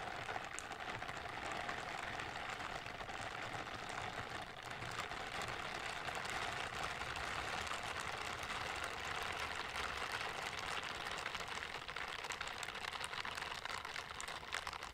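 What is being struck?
Silicone scrubber gloves.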